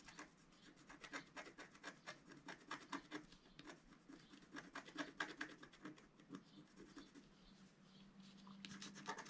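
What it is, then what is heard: Scratch-art paper sheet. A wooden stylus scratches finely across a flat black coated scratch-art card in quick, irregular strokes. Each stroke gives a short, dry, bright scrape. A faint low hum joins toward the end.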